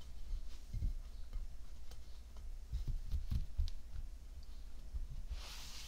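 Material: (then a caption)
Kinetic sand. Bare fingertips and palms pat and rub a round, flattened mound of tan kinetic sand on a white ceramic plate. The result is soft, muffled low thuds with a faint grainy rustle. A brighter, hissing swish of sand comes at the end.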